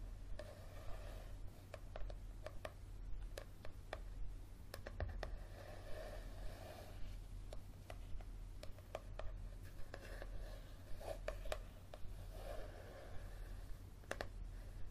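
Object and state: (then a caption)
Paperback book. Fingernails tap the coated cover of a yellow softcover paperback book held at an angle, making quick, dry, bright clicks that die away almost instantly. The taps come at an uneven pace over a quiet, steady low hum.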